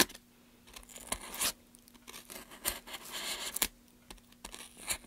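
A gloved hand scrapes and carves the end of a solid pine softwood plank with a small blade. It makes dry, bright scraping and shaving sounds in short irregular bursts, some longer strokes among quick nicks, separated by near-silent pauses.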